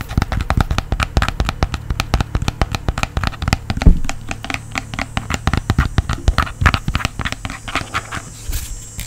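A small, round, hand-sized blue portable speaker with a fabric mesh cover and a teal strap is tapped and scratched with fingertips and nails. Rapid, dry, crackly taps and scratches come in dense bursts over a low, steady hum, each sharp and quickly fading.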